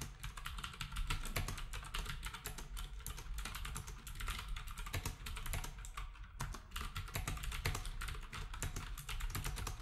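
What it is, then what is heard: Plastic keyboard being typed on. Fingertips type steadily on a black compact plastic typewriter-style keyboard with round plastic keycaps, while other devices nearby are left untouched. A rapid, continuous stream of short, crisp plastic clicks and clacks, bright on top over a heavier low-end thump, carries through the whole clip without pauses.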